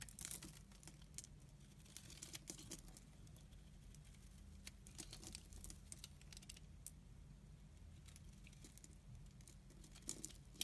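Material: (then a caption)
Soap. A utility knife blade shaves thick curls from the top of a solid amber-brown laundry soap bar held in the hand. The result is quiet, dry scraping with many bright, crisp crackles and tearing ticks over a steady low hum.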